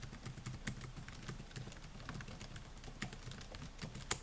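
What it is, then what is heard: Plastic laptop keyboard being typed on. Fingertips type on the plastic keys of a silver Dell laptop with a metal and plastic body, producing a quick run of soft, clicky taps over a low, steady rumble. The taps are short with bright clicks, and a sharper tap comes just before the hand lifts away near the end.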